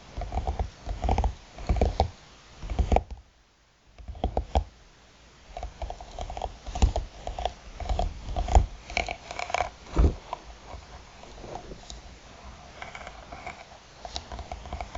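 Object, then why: Hard eyeglass case with faux-leather cover. Long nails tap the lid of a closed, hollow, black croc-textured hard eyeglass case with a faux-leather cover, making dense, dull, low-heavy knocks and soft clicks with almost no ring. After a short pause the tapping resumes in irregular bursts, then the case is tilted and held by its ends, leaving quieter handling rustles and light taps.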